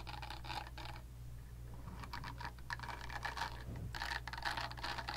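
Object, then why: Silicone facial cleansing pad. Long nails scratch and tap the smooth silicone back of a pink silicone facial cleansing brush pad. Bursts of crisp, bright scratching and quick clicky taps come in uneven clusters over a steady low hum, with short gaps between them.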